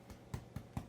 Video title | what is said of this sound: Cinnamon Bread | Another way you can tell the bread is done, if you see it sounds hollow